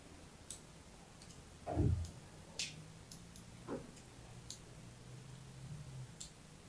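A pink-and-white striped bar of solid soap, held in the hand, is cut and scratched with a thin metal needle or blade. It makes a series of quiet, bright ticks and clicks, with a few duller, fuller scrapes over a low background hum. The plastic slinky sitting nearby is not touched.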